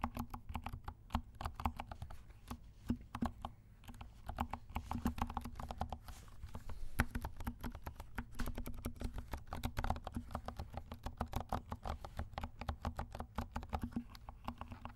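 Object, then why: Plastic mechanical keyboard with silent switches. Fingertips of both hands type steadily on a compact black 68-key mechanical keyboard with black and pink plastic keycaps and silent switches. The keystrokes are soft, muted, low thuds that end almost instantly, with very little bright click. They come in a quick, continuous patter for the whole clip.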